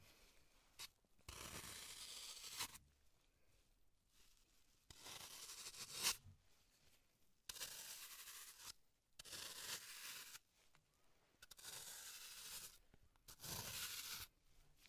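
A hand-sized block of solid green floral foam, held in latex-gloved hands, is scraped and carved with a small metal tool. Six bright, hissy scraping strokes, each lasting one to two seconds, are separated by near-quiet pauses.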